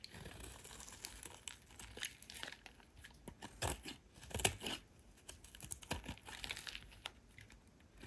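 A solid oval green soap bar held in the hand is shaved with a metal utility knife blade, with thin slices peeling off. The result is a steady run of dry, crisp crinkling and scraping bursts with a bright, papery edge, and a few louder crunching cuts stand out midway through.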